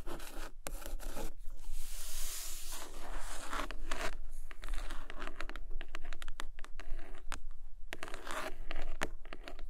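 Long acrylic nails scratch, rub and tap the front cover of a medium-sized, solid, red cloth-bound hardcover book lying flat on a carpet, while the neighboring book stays untouched. A steady, dry scratching and rustling texture runs throughout, broken by quick, sharp taps that die away almost instantly.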